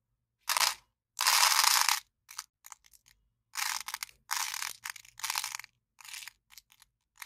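An empty, small, hollow white paper cup with a cartoon print is held in one hand while the other hand's fingertips and long nails scratch and crinkle its wall. The sound comes in irregular bursts of bright, dry crinkling and scratching, some short and some drawn out, with little low end and quiet pauses in between.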